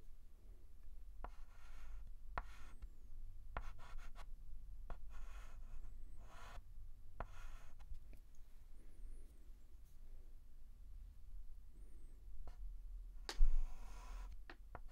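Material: Chalk.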